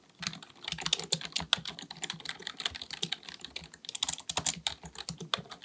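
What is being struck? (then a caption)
Plastic computer keyboard. Both hands type continuously with their fingertips on a black, full-size plastic keyboard on a desk, likely mechanical with a hollow body. The result is a steady stream of rapid, crisp key taps that are bright and clicky, centered around 3.4 kHz, with very little low end and almost no ring after each tap.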